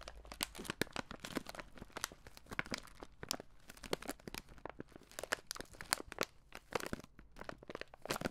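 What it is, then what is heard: Plastic candy bag being crinkled. A red plastic-film Skittles bag with candy inside is crinkled and rubbed between the fingers close to a microphone. The result is a dense, steady stream of crisp crackling and crinkling, with sharp, bright snaps over a quiet, papery rustle.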